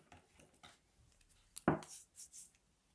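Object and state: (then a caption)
Bar of dry soap being shaved. A palm-sized solid bar of dry grey Palmolive soap is held in the hands and carved with a metal blade held in the other hand, shaving off thin slivers that pile up on the table. Faint, soft scrapes lead into one sharp, crisp crack as the blade bites in, followed by a few bright, hissing shaving strokes that fade out.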